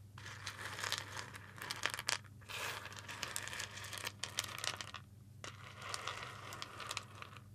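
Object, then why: Whole roasted coffee beans on a ceramic plate. Fingertips rub and pinch whole roasted coffee beans on a white ceramic plate held up in one hand. The result is a dense, bright, crackly crunching and rustling with sharp little clicks, broken by two brief quiet pauses, over a faint steady low hum.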